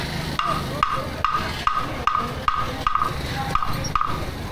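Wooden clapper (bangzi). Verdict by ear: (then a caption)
Hollow. A tofu vendor strikes an old-style hollow wooden clapper (bangzi), once used by street peddlers, in a steady series of sharp, evenly spaced knocks. Each knock rings briefly with a hollow, echoing tone around 1.2 kHz over a constant low background rumble. The echo comes from its resonant cavity, which takes skill to make and which new carpenters cannot reproduce.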